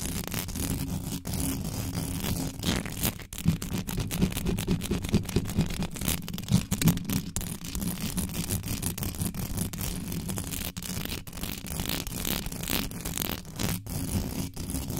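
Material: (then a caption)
Metal mesh. Long nails scratch fast across the hollow metal mesh grille of a desktop microphone, producing a continuous brush-like rasping texture. The sound is dense and low-heavy, with a steady hum near 170 Hz, rapid gritty strokes throughout, and brief dropouts between bursts.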